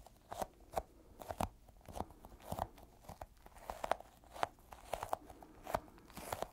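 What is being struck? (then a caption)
Small sticky rubber toy ball. A small, solid, yellow, sticky, squishy rubber toy ball is squished and tapped with fingertips. The result is a quiet run of short, sticky, crackling taps and peeling clicks with a midrange tone around 700 Hz, each dying away almost instantly.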